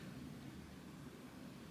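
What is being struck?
Nothing is struck.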